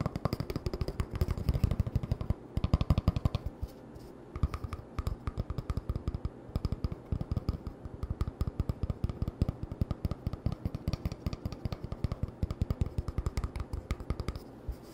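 An empty, hollow cardboard toilet paper tube is held in the hand and tapped and scratched with fingertips and nails. The result is a rapid, continuous stream of dry, hollow, low thumps and clicks that die away almost instantly, with faint scratchy rustling between the taps over the whole 15 seconds.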